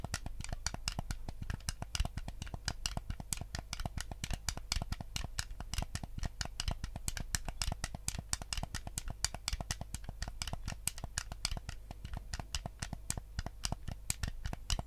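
A white, hollow plastic Nintendo GameCube controller is held in both hands while fingertips rapidly tap its buttons and scratch its shell. The result is a dense, steady stream of short, dry plastic clicks and scratchy ticks over a low, constant hum, with crisp, bright edges on each tap.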